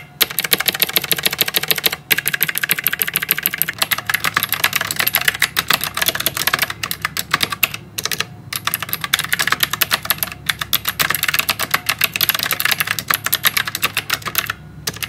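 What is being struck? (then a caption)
Plastic and metal mechanical keyboard. Both hands type with their fingertips on a full-size white plastic and metal mechanical typewriter-style keyboard with round keycaps, a metal top plate and clicky blue switches. A rapid, continuous stream of sharp, bright clicks runs throughout, with only brief pauses. Each keystroke is crisp and dies away almost instantly, with little low end.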